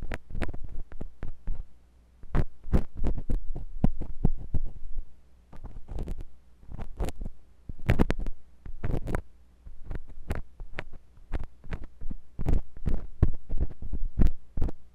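A metal drill-bit tip on a wooden handle, held by fingers with long nails, scratches inside the ear canal of a white silicone binaural microphone ear. The result is a rapid, irregular run of deep, muffled thumps and scrapes, broken by short pauses, over a steady low hum.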